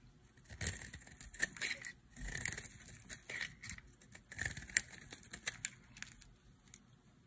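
A solid, light green bar of dry soap held in the hand is carved into flakes with a utility knife blade. The strokes are crisp, dry scrapes and crackles, bright and brittle with a band around 2 kHz. Each stroke comes in a short burst and stops without ringing.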